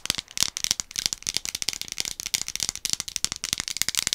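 A medium orange-capped plastic One A Day gummy vitamin bottle, hollow and partly full of gummies, is held in both hands and tapped and scratched with long acrylic nails. Some shaking adds a rattle of the gummies inside. The result is a dense run of quick, dry, bright clicks and ticks with almost no low end.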